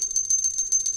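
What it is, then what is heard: Epoxy-bonded coin bell that still rings clearly. A bell made from two Kennedy half dollar coins joined with JB Weld epoxy is rung repeatedly, giving a rapid, bright metallic jingle over a steady high ring. The epoxy does not dampen it; the bell rings out clearly.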